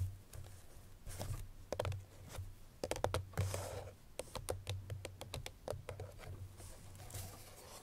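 Long nails tap and scratch the front face of a hollow cream paperboard Chloé perfume box that holds its bottle. A run of quick, dry, short-ringing clicks is mixed with soft, bright scratching swishes, over a steady low hum.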